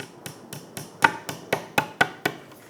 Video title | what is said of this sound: How To Use Crazy Glue Superglue Super Glue To Build IKEA Furniture & Make It Last Forever CA Glue | completamente hacia abajo, puedes escuchar el cambio en el sonido